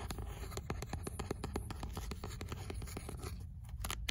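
Fingernails scratch the rough page edges and cover of an old paperback book, then the pages inside. The result is a quick run of dry, rasping strokes over a low rumble that briefly thins out near the end before a final, louder scrape.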